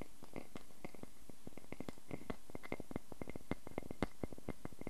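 Fingernails scratch the face of a solid wooden log slice with rings lying on a table, then scratch its bark edge while the slice is held. The result is a quiet, dense stream of rapid dry scratches and short clicks, mostly low in tone with a faint bright edge on each stroke.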